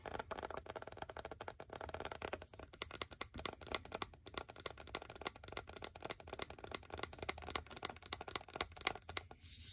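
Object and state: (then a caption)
Glass candle jar. Fingernails tap and scratch the glass sides of a medium glass jar filled with cream-colored candle wax and topped with a grey lid, held in both hands. The result is a rapid, continuous run of quiet, bright clicks and scratchy taps that die away almost instantly, with a soft low hum underneath.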